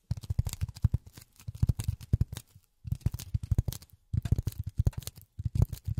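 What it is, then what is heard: Polyethylene foam. Polyethylene foam is tapped rapidly with silicone rubber finger pads, producing quick, dull, low thuds with faint crisp tops that stop almost instantly. The taps come in three fast bursts separated by short pauses.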